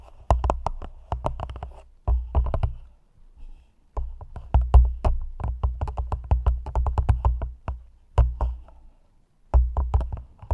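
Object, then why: Thin plastic cup held over a microphone. Long nails tap the walls of an empty, hollow, thin clear plastic cup held over the mic, in quick bursts separated by short pauses. Each tap gives a deep, boomy low thump with a faint bright click on top and dies away quickly.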